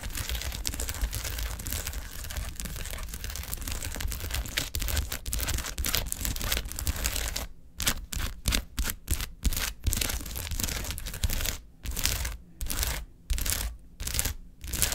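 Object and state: Foil gel ice pack sheet.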